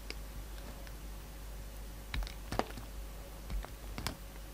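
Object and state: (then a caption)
Soap bar being carved. A solid pink soap bar, held in hand, is carved into a shape with a utility knife blade. Sparse, short, crisp scraping and shaving ticks with bright edges sound over a quiet low rumble and a faint steady hum. The cuts are dry and very brief with almost no ring.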